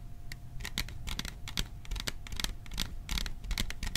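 Fingertips tap quickly and unevenly on the sides of a hollow, cylindrical printed metal popcorn tin held in both hands close to the microphone. Each tap gives a short, bright metallic tick with very little ring, over a low rumbling background.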